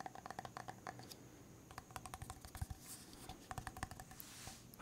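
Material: Plastic.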